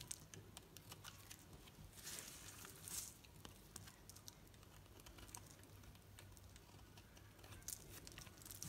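A knife blade shaves the surface of a solid green soap bar held in the hand, making a steady stream of crisp, bright scraping and crackling ticks. The scraping swells louder around the two- and three-second marks, over a faint low hum.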